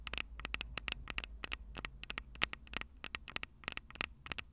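Long purple nails tap quickly on the metal housings of the microphone capsules on top of a Tascam DR-05 recorder. A rapid, irregular run of sharp, bright clicks with almost no ring peaks near 2.7 kHz. A faint low hum runs underneath.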